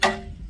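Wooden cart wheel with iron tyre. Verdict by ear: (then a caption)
Tight. A finished wooden cart wheel with a shrunk-on iron tyre, fitted by hot tyring, is tapped once and gives a bright, solid ring with a clear high tone around 1.9 kHz that dies away within about a tenth of a second. It sounds solid, showing a good tight tyre with the spokes seated and everything tight.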